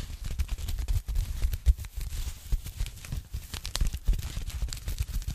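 A thin, flat, hollow pink foam packing sleeve is briefly repositioned, then tapped and scratched with fingertips and long nails. The result is a dense, irregular run of soft, dull thumps with crinkly, crackling scratches and bright, papery ticks on top. Each contact dies away almost instantly.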